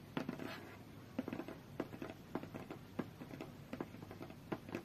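Long fingernails tap and scratch the top and edge of a closed, hollow, medium-sized white cardboard tablet box resting on a fur rug. The result is a string of short, dry, hollow taps with a low-mid thump around 250 Hz, separated by soft papery scratching.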